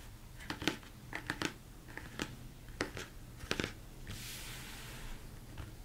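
A large, hollow, empty plastic mixing bowl is turned upside down and tapped with the fingertips and thumbs. The taps are short, dry knocks in an uneven rhythm with almost no ring. Partway through, a brief bright, airy rustle rises and fades beneath them.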